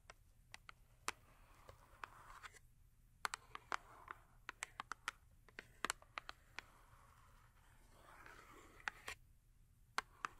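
A small Yardley cardboard soap box, full with a bar of soap, has its top tapped and scratched with long acrylic nails. Sharp, dry clicks with almost no ring scatter irregularly over soft, breathy scratching across the top of the box. The sound is quiet and bright.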